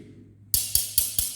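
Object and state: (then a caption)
Solidly bonded ceramic wall tile. A steel tool taps a wall ceramic tile five times to check for an air gap underneath. Each tap makes a short, bright click with almost no ring. This solid sound means the tile is firmly bonded.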